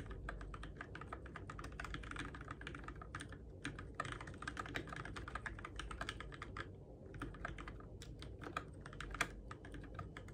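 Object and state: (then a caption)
Plastic mechanical keyboard. Fingertips steadily type on a Keychron K6 compact RGB-backlit mechanical keyboard with plastic keycaps on its switches, in the dark. Quick, crisp clicks and clacks arrive in a dense, uneven stream, with a brief pause near the seven-second mark. A steady low hum sits underneath throughout.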